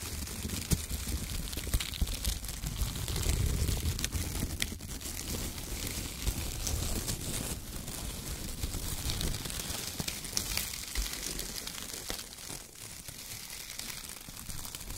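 Both hands scoop, squeeze and crinkle handfuls of a pile of thin brown shredded kraft paper strips with the fingertips. A continuous, dense rustling and crinkling with many small, quick crackles rides over a low rumble and bright hiss, swelling slightly in the middle and easing toward the end.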